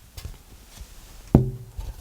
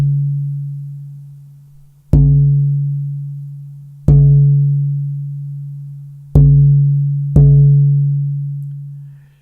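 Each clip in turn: First: dead, low-sustain spalted maple plate. Second: lively, resonant rosewood guitar back plate.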